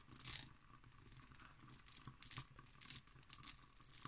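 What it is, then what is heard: Cut glass decanter tapped and scratched with fingernails. Long green nails tap and scratch an empty, hollow hobnail-pattern cut glass decanter with a glass stopper. Quiet, bright clicks and brief scratchy rattles come in a loose series, each dying away almost at once, with soft scraping between them.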